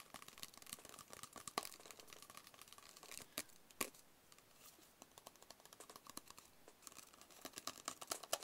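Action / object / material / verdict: tap / small closed cardboard box / cardboard / none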